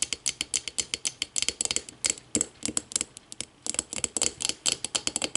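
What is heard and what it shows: Long matte nails tap and scratch the walls of a small, empty, clear glass whiskey tumbler, hollow and held upside down in the hands. About thirty quick, irregular, bright clicks ring with a high glassy tone and die away almost instantly, mixed with soft scratching and a brief quieter pause midway.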